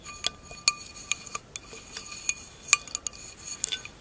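An empty tinted glass wine glass lies on its side on fur while its thin bowl is tapped with long acrylic nails. The irregular run of light, bright clinks is quick and dry, with a faint high ringing tone under each tap.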